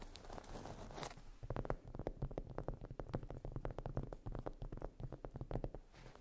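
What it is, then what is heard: Cork coaster. Long nails scratch and then tap rapidly across the surface of a solid, round, flat cork trivet or coaster resting on fluffy fabric. A soft, brushy scratch opens the clip, followed by a quick run of dull, muted taps with a low thud and almost no ring.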